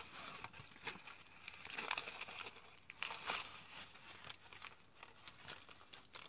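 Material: Aluminium foil.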